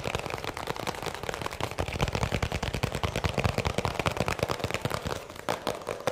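A small, hollow white plastic round tub, apparently empty, is held close to the microphone and tapped quickly with fingertips. It gives a fast, uneven stream of short, dry, hollow clicks and knocks with a low body and little ring.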